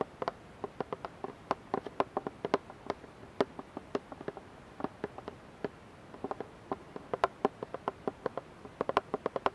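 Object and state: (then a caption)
Plastic dish soap bottle. Long nails tap and scratch the side of a clear, partly filled plastic dish soap bottle with a green cap, held above a pan. Dozens of short, dry, clicky taps sit in the midrange, quick and unevenly spaced, each dying out almost instantly over a quiet background.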